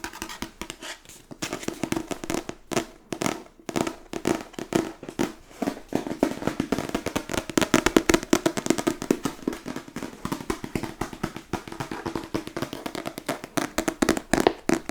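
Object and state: Book tapped with fingers.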